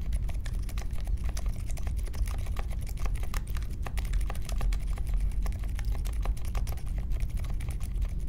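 Slow fingertip typing on a compact Polaris mechanical keyboard with Silent Alpaca switches, a metal case and plastic keycaps, resting on a marble desk. A steady stream of soft, muted key clicks rides over a deep, low-heavy thock. Each stroke stops quickly with little ring.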